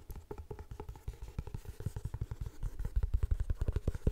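Painted nails rapidly tap and scratch the front cover of a closed, floral paper-covered cardboard hardcover notebook held in both hands. The result is a quick, uneven stream of dull, low thumps with soft scratchy texture between them, each tap dying out almost instantly with no ring. The taps grow slightly louder toward the end.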